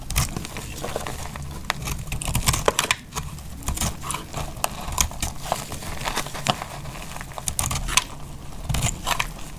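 A solid, dry brown bar of laundry soap is held in the hand and sliced into layers with a metal utility knife blade. Crisp crackling and scraping cuts come in quick, dry bursts with bright sharp clicks, over a steady low rumble. Each cut ends almost instantly, with no ring.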